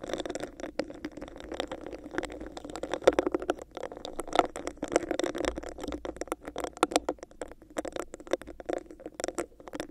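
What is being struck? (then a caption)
Textured plastic cup. Long nails scratch and tap quickly over the bumps of a hollow, clear, textured plastic cup held over a microphone. The result is a dense, continuous stream of crisp clicks and scratchy taps with a hollow mid-range body and bright edges.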